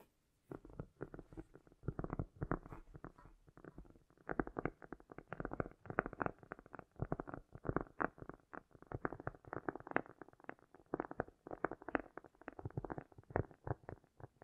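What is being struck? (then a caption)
Round cork disc. Long nails on both hands scratch and tap a round, solid cork disc in a dense, continuous stream of quick, dull taps and scratchy strokes. An echo effect is applied. The sound begins after a brief silence and stays mostly low and mid-pitched, with little high-frequency content.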